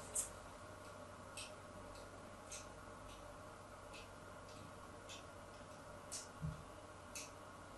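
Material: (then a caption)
Soap. A solid white bar of soap, already covered in scored lines, is scratched further with the tip of a craft knife blade. Short, bright scraping ticks stand out over a steady low hum, and one dull low thump sounds near the end.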